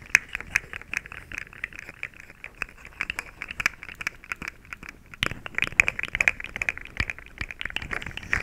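A small, hollow, rainbow-colored plastic slinky coil toy is held in front of a microphone and stretched, compressed and rattled with fingertips and long nails. It makes a dense, irregular stream of quick, dry plastic clicks, crinkles and rattles, bright and centered around 2.5 kHz with almost no low end. Each click dies instantly, and the loudest bursts cluster near the start and after about five seconds.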